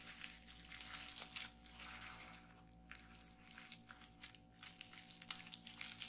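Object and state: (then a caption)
Plastic bubble wrap. Fingertips with long painted nails press and pop the bubbles on a flat sheet of clear plastic bubble wrap lying on a table. Quiet, bright crinkling and crackling snaps come in uneven bursts, with a faint steady low hum underneath.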